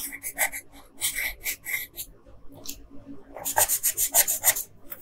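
A yellow colored pencil scratches across a flat printed paper coloring sheet in short strokes near the figure's hair. About fifteen quick, dry, bright rasping strokes come in uneven bursts, with a brief pause in the middle and a denser run of strokes at the end.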